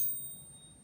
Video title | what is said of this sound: Stack Stick - Coin Ping Test | it's going to have a much more voluminous and just all around beautiful sound to it